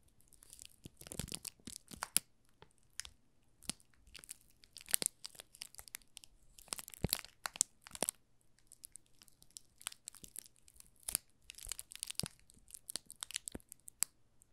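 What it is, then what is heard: Plastic-film-wrapped soap bar crinkled. Fingertips press and squeeze the thin clear plastic film wrapped around a small solid pink rose soap bar, making it crinkle. Dense bursts of bright, crackly rustling come in irregular clusters, with sharp snaps between quieter stretches and a faint low hum underneath.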